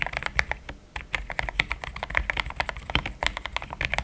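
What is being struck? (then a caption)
Mechanical keyboard with plastic keycaps. Fingertips type in steady, quick taps on a pink-framed compact mechanical keyboard with thick cream XDA plastic keycaps, linear switches, a polycarbonate plate and a hollow case. Each keystroke is a short, dry clack, bright around 2 kHz, with a soft low thud underneath and almost no ring.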